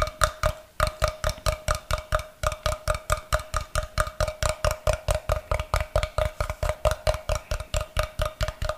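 A solid rectangular block of light unfinished wood, held upright near the mic, is tapped with fingernails in a rapid, fairly steady run of about 42 taps. Each tap is a short, dry knock with a hollow tone around 620 Hz that dies away almost instantly.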